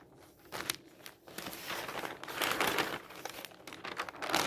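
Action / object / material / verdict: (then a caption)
scrape / newsprint newspaper / paper / none. Fingertips turn the pages of an open newsprint newspaper on a table and rub them flat. The result is a steady, bright crinkling and rustling with short papery swishes and soft crackles, and almost no low end.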